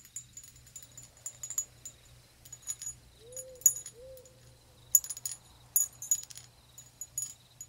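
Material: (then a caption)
Glass. Long acrylic nails tap and scratch a hand-sized, hollow, empty-looking decorative ribbed red glass bottle with a small metal bat charm hanging from its neck. Quiet, bright, clicky taps come in irregular clusters with almost no ring, over a faint low hum. Two soft arching tones near 500 Hz sound midway through.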